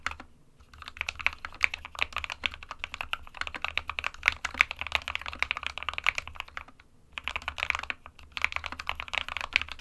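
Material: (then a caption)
Plastic. An SK61 60% mechanical keyboard with a white plastic case and plastic keycaps, resting on a printed desk mat, is typed on rapidly by the fingertips of both hands. Dense, bright, clicky key taps centered around 2 kHz run throughout, with brief pauses near the start and about two-thirds of the way through.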